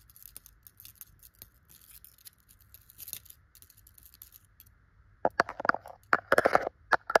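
Long gold metal claw nail covers scratch and brush a soft, stuffed yellow tufted chenille pillow. Faint, dry fabric scratching and light ticks run for about five seconds, then louder, rougher bursts of scratching take over near the end.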